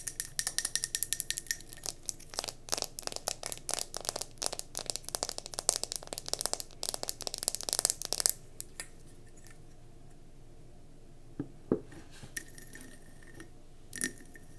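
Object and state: Mercury glass candle jar tapped with nails.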